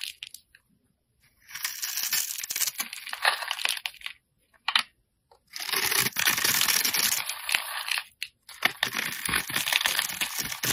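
A metal blade scratches and scrapes small cubes off the pre-scored surface of a solid, palm-sized pink and white striped soap bar held in the hand, and crumbs fall. Bursts of dry, bright, crisp scraping and crunching alternate with short pauses, with almost no low end.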